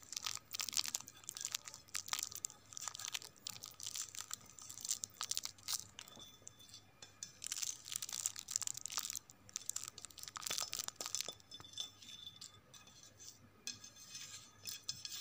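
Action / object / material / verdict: tap / ceramic dinner plate / ceramic / none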